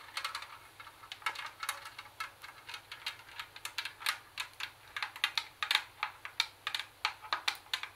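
Long fingernails tap rapidly on the casing of a CD tape recorder, producing a steady run of sharp, bright clicks. The taps are dry and high-pitched with almost no ring or low end, and they grow slightly louder and more distinct toward the end.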